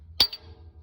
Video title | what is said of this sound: How to replace 3126E CAT injector cups | Do you hear that pitch change? You're at the bottom.